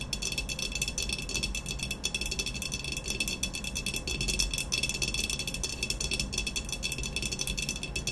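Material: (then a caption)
Ceramic. Long nails rapidly tap and scratch the surface of an upright, hollow ceramic vase with a black textured glaze while both hands grip it. The result is a dense, steady stream of fast, bright clicks and scratchy rattling with very short ring, over a faint low rumble, for about eight seconds.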